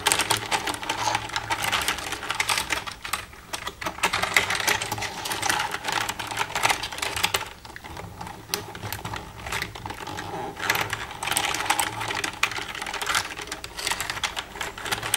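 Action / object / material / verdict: tap / plastic computer keyboard / plastic / none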